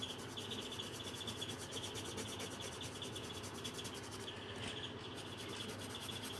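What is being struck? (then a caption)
Coloured pencil on a paper colouring book page. A green coloured pencil rubs back and forth over the thin paper page of a colouring book lying flat on a table. The result is a steady, quiet, scratchy rubbing with a bright, hissy texture and a faint band near 3.4 kHz, continuing without pause for the whole clip.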